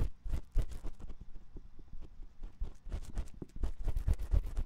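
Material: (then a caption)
Silicone. A metal spiral ear pick scratches inside the canal of a white silicone ear on a 3Dio binaural microphone. Quick, uneven bursts of close, muffled scratching and rustling follow one another, heavy in the low end, with short bright ticks and no ring after each stroke.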